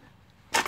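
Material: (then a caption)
Metal. A clutch-area part on a Peugeot 407 or Citroën C5 2.0 HDI is tapped during a clutch job, giving a quiet lead-in and then a sharp, bright, hollow-sounding knock with a second tap right behind it that rings only briefly. The part sounds hollow and no longer sounds as it should, because it has come unstuck and is detached.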